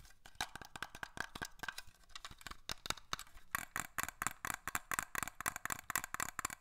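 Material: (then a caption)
Glass. A small glass perfume bottle with a black cap is tapped and scratched with fingernails. Quick, dry clicks and scratches come in a busy run, with short bright ticks and a faint high hiss in between. The taps get denser and sharper toward the end, and each one dies away almost at once.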